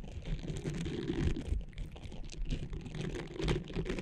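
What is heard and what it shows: Long nails rapidly scratch and tap the nubbed surface of a small blue textured silicone cleansing pad draped over the microphone. The result is a dense, continuous stream of muffled, crackly scratching and soft taps, heavy in low rumble with faint brighter ticks on top.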